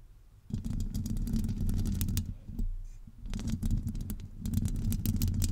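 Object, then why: Metal wire-mesh microphone grille. Long acrylic nails on both hands scratch a hollow metal wire-mesh microphone grille, producing a dense, boomy low rumble overlaid with bright crackling ticks. The scratching comes in bursts, starting after a quiet half-second and easing briefly twice before picking back up.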